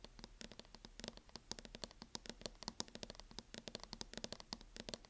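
Long nails tap rapidly along the front edge of a mint matte plastic hard-shell case fitted on a closed MacBook. The result is a quick, uneven stream of sharp, dry, bright clicks that die away instantly, over a faint steady low hum.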